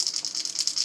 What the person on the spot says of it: you can hear this as a whole bunch of rattles it's not a hard knock it's a regular rattle bait